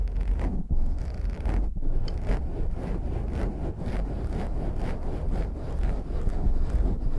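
Both hands cup a black foam windscreen on a microphone and rub it quickly with the fingers. The result is a dense, continuous scratching and muffled rumble, heavy in the lows with little brightness, surging and easing as the fingers move.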